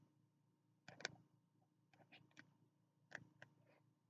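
Fingertips tap the closed cover of a small spiral notebook with a green card cover held in the hands. The soft, dry taps have bright, short clicks, arrive in uneven clusters over a quiet low hum, and die away almost at once.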